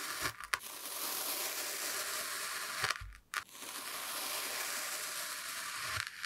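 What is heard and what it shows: A steel kitchen knife presses down and slices through a solid, hand-sized brown kinetic sand block shaped like a cat face with yellow sand eyes, resting on a white surface, in repeated parallel cuts. A steady, bright, gritty crunching scrape carries through each pass, broken by brief quiet dips between cuts.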